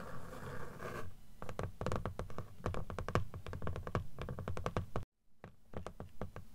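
Long acrylic nails scratch and then tap on the cream paper page edges of a closed blue book, a solid stack of paper lying flat and held upright. A brief rasping scratch gives way to quick, irregular, dull and low taps with short decay, broken by a moment of silence before the tapping resumes.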